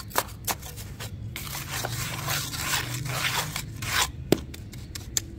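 A round metal spatula scrapes, digs and crunches repeatedly through a crumbly, damp sand-cement mix in a blue bucket. The gritty, bright scraping runs in a continuous rasp, broken by a few sharp crunching clicks.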